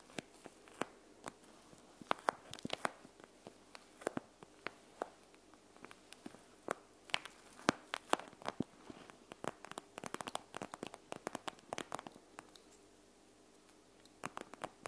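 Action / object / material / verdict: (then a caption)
tap / plastic eye mask filled with gel beads / plastic / none. Long nails and fingertips tap and scratch the gel beads through a panda-face eye mask of clear plastic filled with gel beads, lying flat on a wooden table. Quiet, rapid, crisp clicks and ticks come in irregular bursts with soft rustling scratches between them and very short, dry decays. The activity thins into a near-silent lull before a few final taps at the end.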